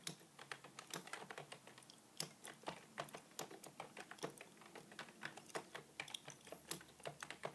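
Fingertips type and tap on the keys of a beige full-size plastic computer keyboard with a hollow body. The result is a quiet, steady stream of short, sharp clicks with a bright, hollow tone and very little low end, each tap dying away almost instantly.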